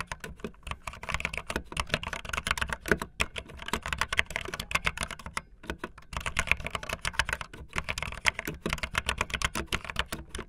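Fingertips with long nails type fast on a backlit optical linear plastic mechanical keyboard with white and blue plastic keycaps. The result is a dense, rapid stream of short, bright clacks and clicks with a low thud under each keystroke, and brief pauses between bursts.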